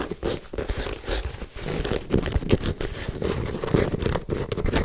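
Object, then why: Embossed leather handbag. Fingertips and nails scratch and rub across a hollow, silver python-embossed leather MK handbag held up in the air. The result is a steady run of dry, crinkly scratching and rustling with a soft, low-heavy body and frequent small surges.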